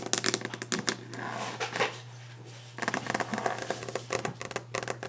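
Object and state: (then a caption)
Wooden desk top. Long orange-painted fingernails of both hands rapidly tap on a large, solid, varnished wooden desk top, producing bursts of sharp, bright clicks. A softer stretch of scratching and rubbing sits in the middle before the fast tapping resumes, with a steady low hum underneath throughout.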